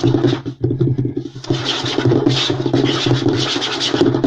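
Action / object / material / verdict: scrape / light wooden tabletop / wood / none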